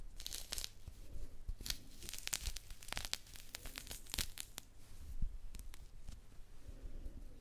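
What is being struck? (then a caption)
Mandarin peel. Long nails scratch into a small mandarin held in both hands and pull the orange peel away from the solid fruit. The result is a quiet series of crisp tearing and crackling snaps with bright, sharp transients over a low rumble. By the end, the peel is partly removed.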